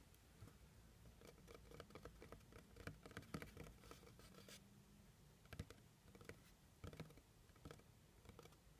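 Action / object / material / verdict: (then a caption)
tap / cardboard box / cardboard / none. Fingernails tap quickly on the top and edge of a hollow brown kraft cardboard box. The result is quiet, dry, irregular bursts of short taps with a dull, low, hollow thud and very little ring, separated by brief pauses.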